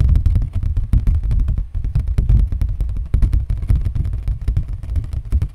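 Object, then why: Thin cardboard sheet. A thin, flat brown cardboard folder or sheet with cut slots is held up and tapped and knocked with fingertips and nails. The result is a rapid, continuous patter of dull, low thuds that stop short with no ring.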